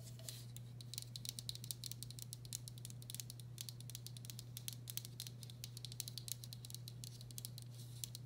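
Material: Ceramic.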